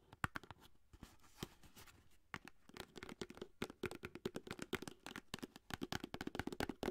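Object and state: Cardboard foil box.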